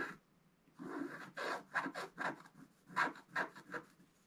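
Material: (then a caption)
Coated paper. A wooden stylus scratches a chest drawing into a flat, black-coated scratch-art paper card. About ten short, dry scraping strokes sound at an uneven pace, each with a bright, raspy texture and little low end.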